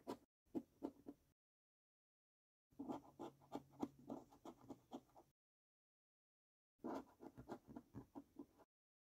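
A coin edge held in the fingertips scrapes the latex panels of a £20 National Lottery Gold paper scratch card resting on a wooden table. Quiet, rapid, dry scratching strokes come in three bursts separated by silence, each stroke short and gritty with a low-mid body and no ring.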